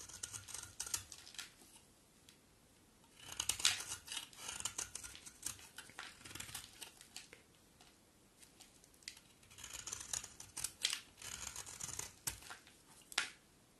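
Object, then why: Bar of soap shaved with a blade. A box cutter blade shaves a solid coral-orange bar soap with embossed lettering, producing quick, crisp scraping and crackling strokes. The bright, dry sound comes in clustered bursts with quieter pauses between them, and each stroke dies away almost instantly.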